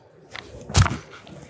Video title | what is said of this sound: Das leichteste AR auf dem Markt? Die WWSD 2020 - IWA 2022 | es wirkt ein bisschen hohl. Wenn man draufklopft, es klingt ein bisschen, wie halt Kunststoff klingt